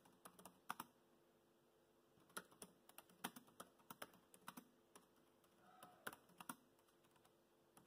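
Fingertips tap the black plastic keys of a laptop keyboard while typing, producing short, crisp clicks in irregular bursts with brief pauses between them. Each keystroke is a sharp, dry tick with almost no ring, over a faint steady background hiss.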